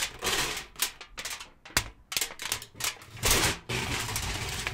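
A thin, loosely folded, hand-sized sheet of aluminum foil is held in both hands in front of a microphone while fingertips crinkle, fold and rub it. Bright, crackling bursts of crinkling alternate with sharp snaps and brief quieter gaps. The clip ends in a steady, dense rustle.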